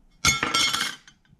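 A thick, solid, fully titanium Apple Card (a Goldman Sachs Mastercard) is knocked or dropped onto a surface, giving four quick, bright metallic clinks in about a second. The clinks center around 2.2 kHz with high overtones and only a brief ring, the solid clunk expected from an all-metal card.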